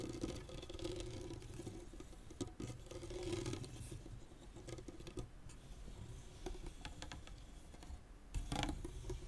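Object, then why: Tennis racket with synthetic strings. Fingernails scratch across the synthetic strings of a tennis racket whose head lies flat, making a soft, dry, pattering scratch over a steady low hum with a faint tone near 300 Hz. Near the end, both hands are laid flat on the string bed, giving a brief, louder, fuller rustle before the sound settles back down.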